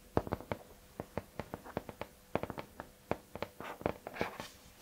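Fingertips and nails tap and scratch the flat, thin, tiger-print paper-covered cardboard cover of a hardcover notebook or folder held up in both hands. About twenty sharp, dry taps ring out in quick irregular succession, with a few brief scratching bursts near the end, over a faint steady hum.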